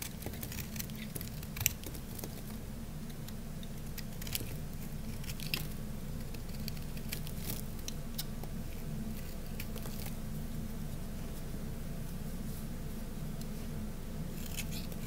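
A solid, dry orange bar of soap is shaved with a craft-knife blade, then held up after cutting. Soft, bright crunchy scrapes and crackles come and go over a steady low hum. One sharp click stands out near the start.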